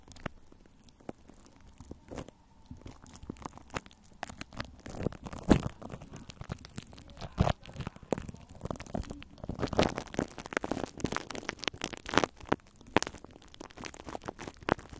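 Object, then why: Plastic cling film over a metal mesh microphone grille. Both hands with long nails scratch clear plastic cling film wrapped over a metal mesh microphone head. The result is a close, dense stream of crinkly scratching and crunching, broken by irregular sharp clicks and taps. It starts quieter and grows busier and louder.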